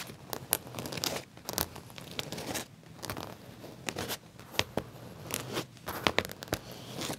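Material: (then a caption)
Leather. Fingernails scratch and tap along the pocket edge of black leather trousers. The result is a run of short, dry, crackly scrapes and sharp taps with bright edges over a faint rustle.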